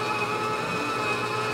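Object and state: Nothing is struck.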